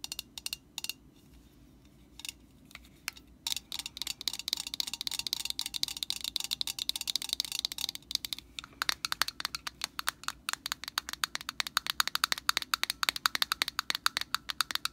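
Long nails tap and scratch the orange hollow plastic cap of a metal Static Guard aerosol can, making quick, dry, bright clicks with almost no ring. The taps start sparse and irregular, then become a dense, steady patter of sharp ticks from about halfway on, with a faint scratchy hiss between them.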